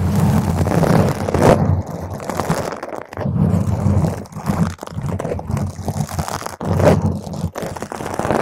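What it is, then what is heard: Foam microphone windscreen. A round purple foam microphone windscreen is scratched with long green nails from both hands, with fast fingertip-and-nail scratching across the top. The result is a dense, crunchy, rumbling scrape heavy in low frequencies, with brief quieter gaps between bursts.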